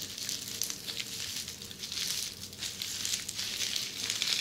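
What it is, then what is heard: Plastic bubble wrap. Long red-painted nails scratch across a flat sheet of red plastic bubble wrap up close. The result is a steady, bright, crackling scratch, almost all high hiss with little low end, rising and falling slightly in loudness throughout.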